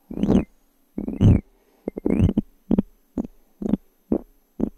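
A small solid light-wood cube die is held in the fingertips of one hand close to a microphone while long fingernails scratch and tap its surfaces. Longer rasping scratches alternate with short, dull, woody taps, repeating at an uneven pace. The sounds are close and low-to-mid in tone, with almost no ring after each tap.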